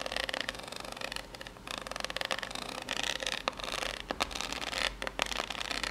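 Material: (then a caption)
Cardboard. Long, pink-polished natural nails scratch and tap the ridged surface of a small rectangular corrugated cardboard box, likely empty, held upright in both hands. Dense, bright, rasping scratches run in quick bursts, broken by sharp dry taps that die away instantly, over a faint steady low hum.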